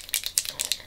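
A small sample bottle of bareMinerals bareSkin sheer sun serum bronzer, a liquid bronzer, is shaken before use so the liquid inside can be heard. About five quick, bright sloshing rattles come through, with almost nothing in the low end and no ringing after each stroke.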